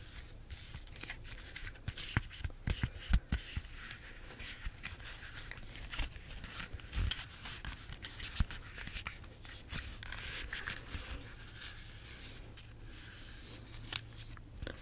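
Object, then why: Bunch of bananas, peel. Long nails scratch and grip the smooth peel of a bunch of ripe, spotted bananas with the peel still on. The result is a quiet, steady scratching rustle with bright edges, broken by frequent short, sharp clicks and taps over a low, dull rumble.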